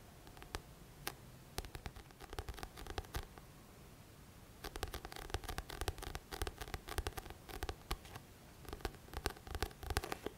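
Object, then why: Thick paperback book with glossy cover. Fingertips tap and scratch the glossy back cover of a thick paperback book. Quick, soft taps and dry scratching strokes come in clustered bursts with short, sharp clicks and a low thumping body. After a brief quieter pause near the middle, the activity resumes more densely until the end.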